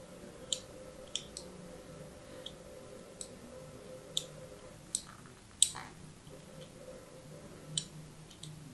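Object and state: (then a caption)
Soap bar being scored. A hand-held, solid, rounded soap bar with orange and white stripes has crossing lines scored into its face by a thin blade tip. Sharp, bright clicks and scratches rise over a low steady hum, with about ten distinct hits spread across the clip. The loudest scrape comes near the middle.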